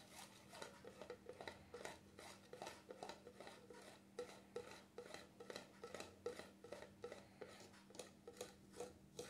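Fingertips and nails scratch and rub the black plastic lid of a small cream jar, making a quiet, irregular run of short, dry scratching strokes with bright, raspy texture and little low end. The hand briefly lifts off the jar partway through before the rubbing resumes.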